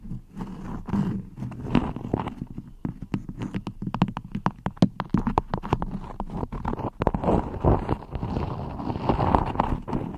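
Long nails scratch and pinch a floral cotton beeswax wrap stretched over a microphone. The result is a dense run of close, crinkly scrapes and sharp snapping clicks over a heavy, muffled low thump. The clicks flick bright and the rustle carries on steadily throughout.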